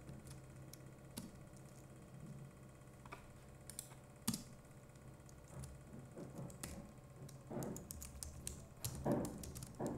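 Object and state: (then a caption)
Plastic computer keyboard. Fingertips of both hands type on the plastic keycaps of a compact Logitech MX Keys Mini keyboard, giving quiet, soft clicks and taps over a low background hum. Some keystrokes stand out as sharper, brighter clicks, while others come in short clustered bursts.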